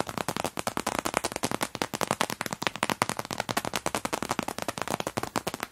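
Both hands with long dark nails press and tap on the clear vinyl of an open floral fabric toiletry bag, a clear PVC cosmetic pouch whose two pockets are stuffed with crumpled grey tissue paper. A fast, steady run of dozens of sharp, dry crackles and crinkles follows, each snapping bright and dying almost instantly, with little low end.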